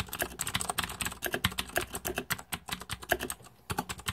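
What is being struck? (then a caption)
Mechanical keyboard with plastic keycaps. Fingertips type rapidly on the plastic keycaps of a green-backlit Razer 2014 Deathadder mechanical keyboard. Quick, bright, sharp clicks and clacks follow one another with little ring. There is a brief pause near the end before the typing resumes.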